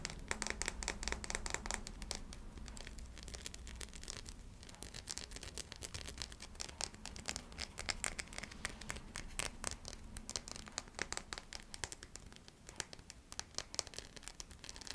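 Long nails tap and scratch the facets of a small, clear, solid faceted glass crystal ornament held in the hand. Rapid, bright clicks and scrapes come in dense bursts with almost no ring, over a faint low hum.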